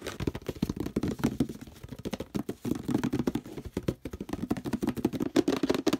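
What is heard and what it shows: Fingernails and fingertips tap and scratch quickly on the label and the plastic near the handle of a hollow orange plastic detergent bottle. A fast, continuous run of short, dull, hollow taps centred in the low-mids mixes with dry scratching across the label. Each tap dies away almost instantly.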